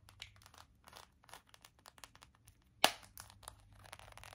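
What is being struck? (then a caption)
Small round plastic compact. A small, hollow, round plastic compact shaped like a pink donut is tapped on its lid with long acrylic nails. Quick, light, bright clicks come in a rapid run, with one sharper, louder tap standing out near the middle, and each tap dies away almost at once.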